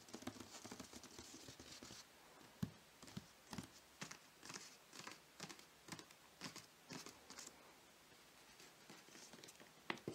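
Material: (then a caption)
Cardboard. A large, closed, hollow rectangular cardboard gift box covered in pink glitter paper rests on a white sheet and is tapped across the lid with fingertips and short nails. The taps are light and dry with almost no ring. A dense, scratchy patter of tapping comes first, then sparser clicks with quiet gaps between them.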